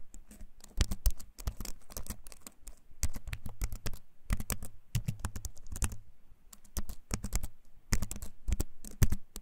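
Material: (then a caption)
Plastic, wood. Fingertips type on a compact wooden-frame keyboard with plastic keys, held up close. Its clicky keycaps give quick bursts of bright, sharp clicks over a low thud, coming in short clusters with brief pauses between.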